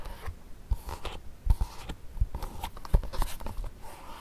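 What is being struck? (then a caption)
Leather court shoe. Fingertips and nails tap and scratch the lining and glossy toe of a single empty black leather court shoe resting on carpet. Soft, dull, hollow taps land at an irregular pace, with faint scratching between them.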